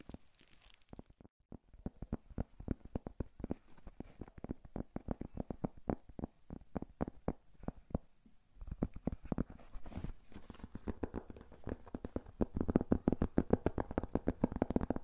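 A round, flat, thin, solid cork coaster is held in both hands in front of a furry microphone and scratched and tapped with fingertips and nails. Quick, dry, close-up taps and scratches come in dense, uneven runs, with a brief quiet gap just before two seconds and another near eight and a half seconds. The sound is low and soft, with almost no ring.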